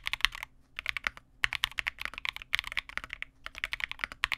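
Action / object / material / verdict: tap / plastic mechanical keyboard / plastic / none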